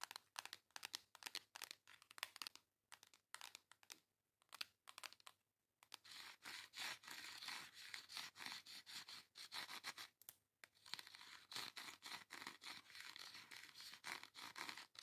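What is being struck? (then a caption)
Flat cardboard makeup palette. Long nails scratch and tap the front of a flat pink cardboard face makeup palette held up in one hand. Quick, dry, bright taps and scratches come in short bursts with gaps for the first six seconds, then become a denser, continuous crinkly scraping with a brief pause around ten seconds.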